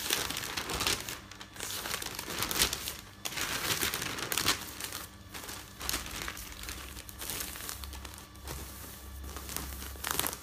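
Hands lift a sheet of newsprint newspaper, then fold and stack the pages on a bed and rub them with their fingertips. The paper gives a continuous bright rustling and crinkling that swells into sharper crackling bursts as sheets are handled, with a faint low hum underneath.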